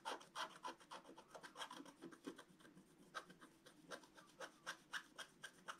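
A wooden stylus scratches the coating of a flat black-coated scratch-art card in a quick, uneven series of rubbing strokes. Each stroke is a short, dry, raspy scrape centred in the mids with a bright, hissy edge and almost no low end, dying away almost at once. The overall level is quiet.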